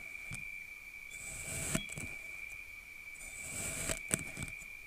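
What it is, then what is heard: Kinetic sand being cut. A large steel kitchen knife slices repeatedly through a solid, packed, flattened slab of pink kinetic sand with an imprinted pattern on a white surface, cutting thin strips that crumble. Each cut is a soft, bright, hissing scrape that swells and ends in sharp little clicks, over a steady faint high tone near 2.4 kHz.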